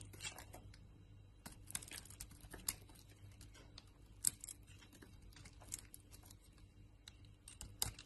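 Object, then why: Bar of soap cut with a blade. A utility knife blade carves a hand-held solid bar of soap, striped purple, white and red, into flakes. Soft, bright scraping and crisp cutting sounds come in uneven bursts over a quiet, steady low hum.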